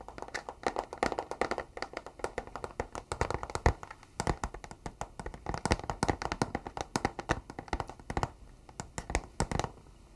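A flat, rectangular, hollow, closed white cardboard box is held in both hands and tapped on its face with fingertips and nails. Quick, uneven bursts of short, dry taps run throughout, with a hollow low thump under sharp, bright clicks. Each tap dies away almost at once.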